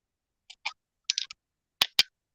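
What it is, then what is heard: Ceramic bowl shard with a glassy click. A piece of an old ceramic bowl found in the woods is tapped, giving a series of short, bright, glassy clicks with almost no low end. The first taps are light and clustered, and the last two are sharper and louder, each dying away almost instantly. The shard rings like glass but is ceramic.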